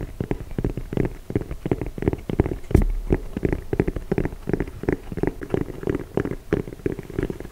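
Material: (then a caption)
Rubber. Fingertips and nails tap and scratch along the treads of a dark grey, ridged rubber sole from a chunky sneaker, held up close to the mic. The result is a quick, uneven patter of dull, low thuds that die away almost instantly, mixed with soft scratching and with little high-end brightness.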